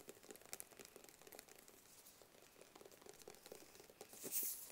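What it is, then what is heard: Cardboard box tapped and scratched. Fingertips and nails tap and scratch a small, closed, hollow black cardboard gift box. Quiet, dry, papery taps and crinkly scratches patter on at a steady pace, each dying away quickly. A louder, bright scratching burst comes near the end.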